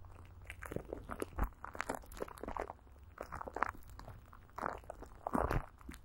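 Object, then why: Plastic film coated with petroleum jelly over a microphone. Greasy fingers and a palm rub and pat clear plastic film coated with Vaseline and stretched over a hollow microphone grille. The result is close, sticky crinkling and crackling with soft, muffled thumps and a low rumble underneath.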